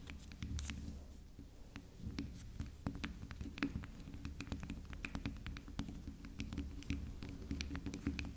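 Long acrylic nails tap and scratch the top and sides of a soft, round, pink-and-purple swirl bar of soap that sits solid and unwrapped on a stone table. A quick, irregular run of soft, dull taps and scratchy strokes, each with a short bright tick that dies away almost at once, plays over a steady low rumble.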